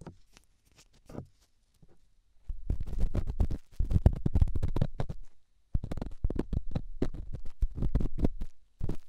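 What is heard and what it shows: A small, solid, rough stone held in the fingertips is scratched and rubbed inside a silicone microphone ear. This makes close, low, muffled scraping and rustling in dense bursts. Short quiet gaps separate the bursts.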